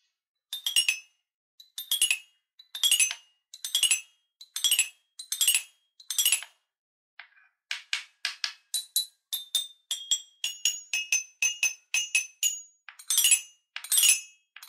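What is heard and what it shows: A small guitar-shaped wooden toy xylophone with five colored painted metal bars, held in one hand, is tapped with a wooden mallet with a red ball head. Quick, bright metallic tinkling runs come in short bursts roughly every second, then pause briefly. Faster single taps follow, their high clear tones ringing only a moment.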